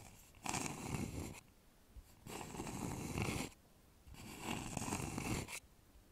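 Fingertips and fingernails scratch and tap the outer wall of a polished, hollow wooden bowl with visible grain, held upside down over a microphone. Three separate bursts of rough, rasping scratching are heard, each with a hollow low rumble and a bright hiss, separated by short quiet gaps.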